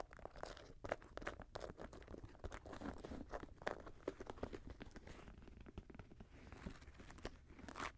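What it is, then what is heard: Suede and mesh sneaker. A grey Jordan high-top sneaker of suede and mesh, empty and resting on a lap, is scratched across its upper and laces with fingernails. Dense, quick crunchy and crinkly scratches run throughout, with short dry bursts and no ring, over a low rumble.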